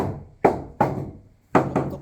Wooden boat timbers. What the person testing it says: Puro mga solid to. Wala lang halos mga kuan dito masabing may rinig tayong parang bingi.